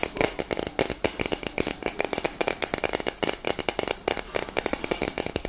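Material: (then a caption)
Metal. A hollow black cylindrical metal aerosol deodorant can with a grey cap is held close and tapped and scratched with long nails. About 37 quick, bright clicking taps sound with a short metallic ring around 445 Hz. A high scratchy rasp runs between the hits.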